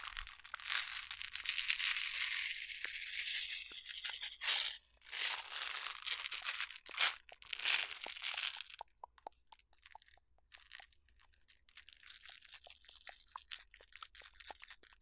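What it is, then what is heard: Glass jar of water beads. Long nails scratch and tap a medium glass jar labeled water beads, full of colorful beads and held close, working over both the glass and the label. Bright, raspy scratching swipes come in bursts over the first half. They give way to quieter, sparse crisp taps and a soft, steady high scratching toward the end.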